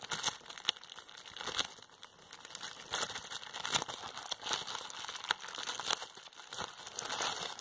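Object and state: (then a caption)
Plastic bubble wrap. A flat sheet of clear plastic bubble wrap with air-filled bubbles is held in both hands and pinched with long painted fingernails. Sharp, bright pops cut through a steady crinkling of the plastic, with almost no low end. The bubbles burst in quick, irregular snaps as the sheet rustles between them.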